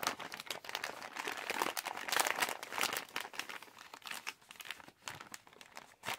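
Fingers scrunch and tightly squeeze a yellow Halls plastic cough drop pouch, producing dense, bright crinkling and crackling with no low end. The crinkles come in uneven bursts, loudest in the middle and thinning toward the end.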